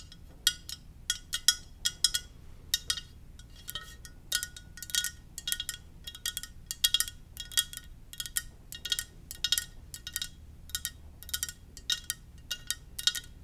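A Darth Vader ceramic mug is tapped gently in quick, uneven bursts. Each tap gives a bright, high clink that dies away almost at once, over a faint low background hum.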